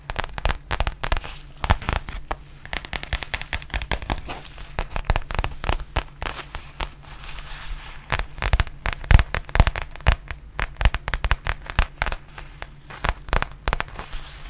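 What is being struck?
Faux leather zippered pouch.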